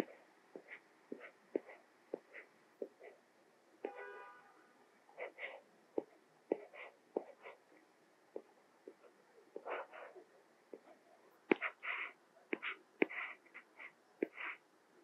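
A white plastic Apple Pencil held in the fingers taps and scratches across the small, flat glass touchscreen of an iPad Mini, possibly fitted with a matte protector, while writing pink Korean letters. Many short, sharp clicks and taps come at an irregular pace, mixed with brief, brighter scratchy strokes. The sound is quiet and dry, with almost no ring.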